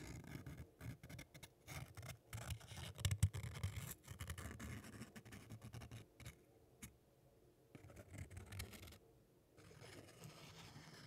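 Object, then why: Crumpled thin paper. A small crumpled piece of thin white paper is held in both hands while the fingertips rub and crinkle it close up. Irregular bursts of soft, scratchy crackling and rustling come with a low, rumbling body, broken by brief quiet gaps before the crinkling resumes more gently.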